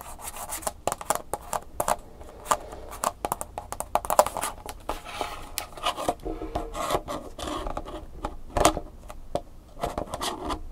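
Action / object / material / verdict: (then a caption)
scrape / hollow plastic clamshell package / plastic / none. Long nails scratch and rub the back label of a round, hollow, hand-sized plastic clamshell package for an Angry Birds flash drive, then move to tapping its front. The result is a dense run of quick, dry scratches and sharp taps with short bright clicks and almost no ring.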